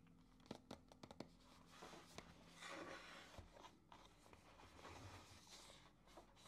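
Fingertips turn over, rub and handle a small white printed paperboard retail box for a Ulanzi ST-28 MagSafe mount, hollow with the product inside, while starting to open its flap. A few quick, sharp taps and clicks come first. Soft, bright scraping and rubbing rustles follow, all at a quiet, close level.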